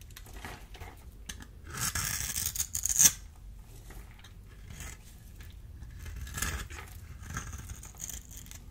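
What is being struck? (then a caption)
Bar of soap. A small metal blade scores and scrapes a solid, dry purple bar of soap held in the hand, and cubes crumble off. Crisp, bright scratching builds into a louder rasping stretch that ends in a sharp snap. Softer, intermittent scrapes and crumbling ticks follow.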